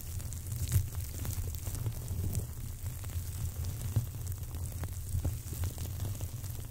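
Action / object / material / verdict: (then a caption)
scrape / dried millet seed sprays / dried plant stalks / none. Two long dried millet seed sprays, natural stalks with dense seed heads, are held crossed and rubbed and scratched against each other with fingertips. The result is a steady, soft, crackly rustle over a low rumble, with brief sharper crackles.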